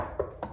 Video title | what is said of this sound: Survey Secrets Exposed - What To Look Out For On Your Next Property! | When I knock on it, I can hear that there's hollow spots, especially there.